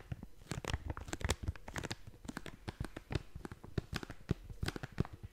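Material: Plastic foil.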